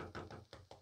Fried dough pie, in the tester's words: Kalau suaranya tumpul seperti ini berarti sudah siap.